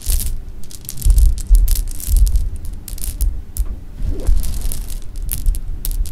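A hand with long painted nails scoops, drops and rubs a pile of small, solid, sugar-coated jelly beans resting on fabric. The result is a dense stream of bright, crisp clicks and light rattling over soft, low thumps from the beans landing on the cloth.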